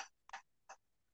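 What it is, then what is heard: Heater being tapped. A room heater is tapped, giving short, bright taps with a ringing tone around 780 Hz. The taps decay almost at once. The loudness shows two main hits, at about 0.35 and 0.7 seconds, with a quick flick just before the first and the tail of another sound at the very start.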